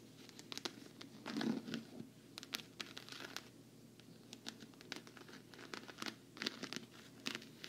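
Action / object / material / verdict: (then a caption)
tap / quilted patent-vinyl travel case / patent vinyl / none. Long fingernails tap quickly on the quilted surface of a hollow, black quilted patent-vinyl travel case. The result is a quiet, irregular run of sharp, bright clicks and crinkly scratches over a soft, low-mid hollow thump.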